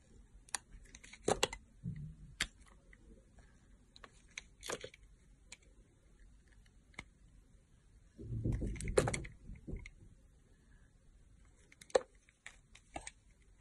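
A yellow box-cutter blade slices and scrapes a translucent green, solid, round glycerin soap bar held in a hand with long nails. Sharp, dry clicks and brief scratchy cuts are scattered across the clip, with a longer, louder rasping scrape in the middle and a few crisp snaps near the end.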